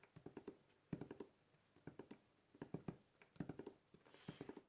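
Fingertips of both hands tap and scratch the top of a large, flat, closed corrugated cardboard shipping box printed with the RODE logo, which holds contents and lies on a wooden table. Quick, dull, hollow taps fall in short bursts with almost no ring. Near the end a brief bright scratching hiss rises over the taps.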